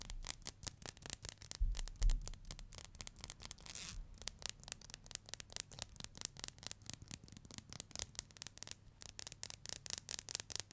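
Long nails scratch and strum along the teeth of a black plastic hair comb, producing a fast, uneven stream of short, crisp clicks with a bright, high edge. A few low thumps rise under the clicking near the start, and the quick ticking continues steadily to the end.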